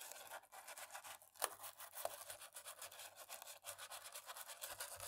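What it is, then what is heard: Plastic laptop keyboard being scrubbed. A cotton swab on a thin stick scrubs and rubs between black plastic laptop keys, making a quiet, steady bristly scratching with a dry, bright hiss and almost no low end. The strokes come in a loose, uneven rhythm, with a couple of sharper ticks standing out near the middle.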